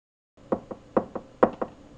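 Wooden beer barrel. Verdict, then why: Full. A full wooden beer barrel is knocked six times in three pairs, each knock a short, dull thud centred near 540 Hz that dies away almost at once. The flat, damped sound marks the barrel as full rather than empty.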